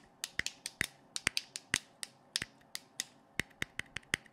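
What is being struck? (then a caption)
Plastic LED flashlight head. A hand-sized, hollow blue plastic LED flashlight with a clear lens head is held close to the mic and tapped on its head with fingertips and nails. About twenty sharp, dry clicks sound at an irregular pace, each a bright tick with a pitched ping near 2 kHz and almost no ring or low end.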